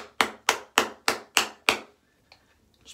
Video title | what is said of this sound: A thank you Shave! | then you can hear it you can hear it sloshing around